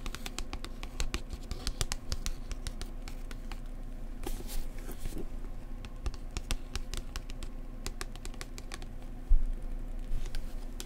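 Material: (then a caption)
Card. Fingertips and nails tap quickly and lightly on the glossy card cover of a thick paperback travel book held upright. The sound is a dense, irregular run of short, bright clicks and soft pats over a steady low hum, with a louder tap near the end.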